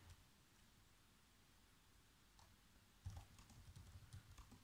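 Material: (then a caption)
Plastic. Fingertips type fast taps on the black plastic keys of a laptop keyboard. After about three seconds of near-silence with a faint tap, a quick run of soft, dull key clicks follows, with short thumping lows and brief bright click tops that die away almost at once.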